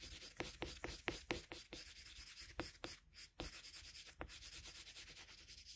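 A colored pencil rubs back and forth across a flat sheet of drawing paper while shading, making soft, dry, scratchy strokes with a bright hiss. The strokes come in an uneven rhythm, some sharper and louder than others, over a quiet background.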